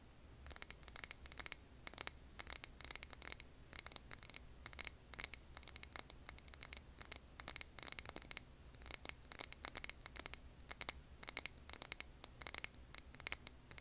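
Long nails tap and scratch the rim and sides of a medium glass candle jar filled with green wax, held upright. Dense bursts of quick, bright clicks and scrapes come in clusters with almost no low end, each tap dying away at once with no ring.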